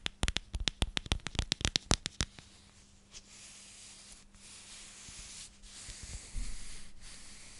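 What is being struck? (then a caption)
Plastic storage container. A clear plastic storage container with a purple lid is turned in the hands and rubbed and scratched with long nails. It opens with a quick run of about sixteen sharp, bright clicks and taps over the first two seconds, then settles into softer, continuous scratching and rubbing with a faint steady low hum beneath. A few louder scrapes come near the end.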